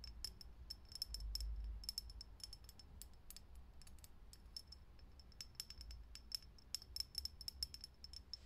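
A fingernail taps quickly and irregularly on a lit, hollow, clear glass vintage filament light bulb, making a run of short, bright glassy clicks with a faint high ring. A steady low hum sits underneath throughout.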